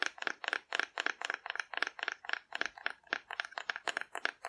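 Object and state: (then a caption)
Cardboard dinosaur figure tapped with fingernails. A hand-sized hollow cardboard dinosaur figure, painted in pastel swirls and held in one hand, is tapped with long red-painted nails. The taps are quick, dry and papery, landing in uneven clusters with a bright, hollow tone centered around 1.7 kHz. They stop dead with no ring and no low-end thump.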